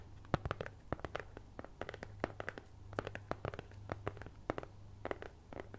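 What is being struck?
Thin cardboard cutout.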